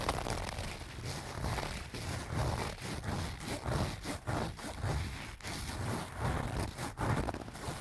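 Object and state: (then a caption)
Fabric cosmetic pouch. Fingernails scratch the front and sides of a small, soft-sided pink-and-white leaf-print canvas zip pouch that appears to be filled. The result is a steady, dull scratching and rustling with a low, muffled body and little brightness, swelling and easing in short strokes.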